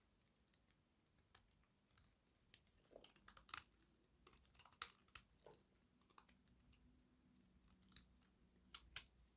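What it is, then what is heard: Dry, crunchy soap bar. A small metal blade shaves crunchy curls off a solid rectangular bar of dry white soap held in the hand. Quiet, bright, crisp scraping and crackling comes in scattered bursts of short dry clicks with almost no low end and no ring. The result is a delicate, crunchy flaking texture.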